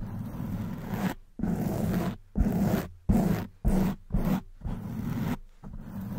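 Long white nails on both hands scratch across a black foam windscreen on a silver condenser microphone. Eight rough, rustling scratch strokes are heard, separated by brief pauses, with a low, dense texture.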